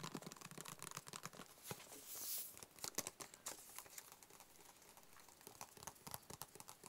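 A hollow, closed, white cube-shaped cardboard box is tapped and scratched with fingertips and short nails. Quick, dry taps and crinkly scratches come in a dense, uneven patter, with a brief louder hissing scratch partway through. The sound is bright and quiet, and each tap dies away almost instantly.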